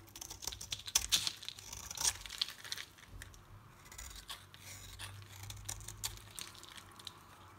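A solid pink Dalan oval bar soap is carved and shaved with a utility knife blade. Bright, crisp scraping and crackling with dense clusters of short cuts is heard, loudest in the first two seconds, then continuing as softer shaving.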